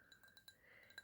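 A drinking glass holding apple juice is tapped six times with fingernails, giving quiet, bright clinks. Each tap has a clear tone around 1.6 kHz with a higher overtone and dies away almost at once.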